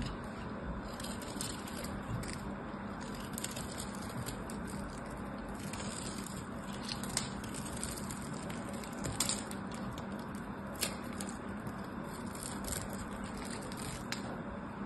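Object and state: Bar soap being carved.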